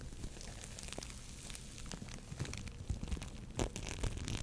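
A soft, solid lump of orange foam bead clay is squeezed and scratched with long nails and fingertips. The result is a quiet, steady crinkling crackle, with irregular sharper crunchy pops that grow more frequent toward the end over a low, muffled rumble.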